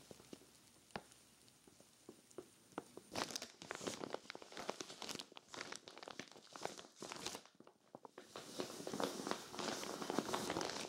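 Hands with long nails press and crinkle a clear vinyl zippered storage bag full of cream knit sweaters. Sparse, sharp clicks and crackles at the start give way to dense, bright crinkling of the plastic film, with a brief quiet gap before it swells again.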